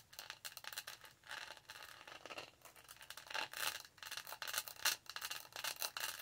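Long nails scratch the studded sides of a tall, black, hollow plastic tumbler with studs and the lid around its straw. The result is a quick, uneven series of bright, raspy scrapes and clicks with very little low end.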